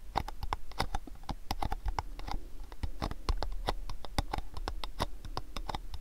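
A long rectangular cardboard gift box is held in both hands and tapped rapidly on its front face with fingernails. The result is a dense run of sharp, dry clicks with bright edges and a hollow knock around 820 Hz over a low rumble, with each tap dying away almost at once.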